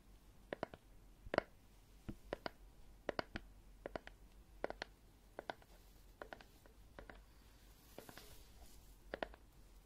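A medium-sized green plastic jar of aloe vera gel with a ribbed lid, looking full, is held in one hand close to the microphone and tapped and scratched with fingertips and nails on the lid and sides. Short, dry clicks and taps sound in uneven clusters over a faint background hiss, each dying away almost instantly with no ring.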